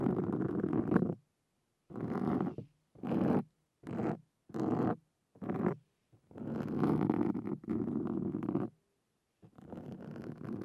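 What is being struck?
Foam microphone windscreen.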